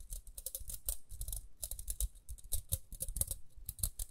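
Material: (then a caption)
Plastic. A small round pink plastic detangling hairbrush with a dark bristle grid is held in the hands and scratched and tapped with long nails along its rim and bristles. The result is a quiet, dense run of short, dry clicks and scratchy taps with bright, crisp highs over a soft low thump, with no ring after each hit.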